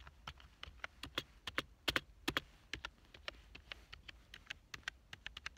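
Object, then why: Plastic computer keyboard. Fingertips type on the keys of a black plastic full-size keyboard lying on a couch, producing about 28 quick, bright clicks. The taps are short and dry with almost no ring and little low end, arriving in an uneven rhythm at a soft overall level.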